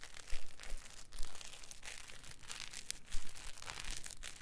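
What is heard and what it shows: A solid, palm-sized block of green polyethylene packing foam is squeezed and twisted with fingers and thumbs. It gives off a crinkly creak of dry, bright crackles and squeaks over low, thumping pressure bursts that swell and fade as the block is worked.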